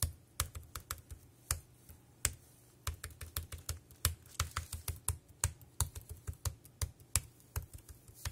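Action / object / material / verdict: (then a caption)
tap / plastic computer keyboard / plastic / none. Fingertips type on a dark grey plastic compact wireless keyboard, producing about 27 short, dry key clicks in an uneven rhythm. Each keystroke has a low thump under a bright, crisp tick that dies away almost at once, with quiet gaps between bursts.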